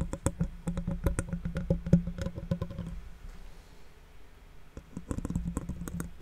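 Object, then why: Metal mesh microphone grille. Fingertips and nails of one hand scratch and tap the metal mesh grille of a large silver condenser microphone, which is hollow behind the mesh. Quick, irregular taps land in a dull, boomy thud with a low resonant hum under each one. They pause into a soft, quiet rustle, then start up again.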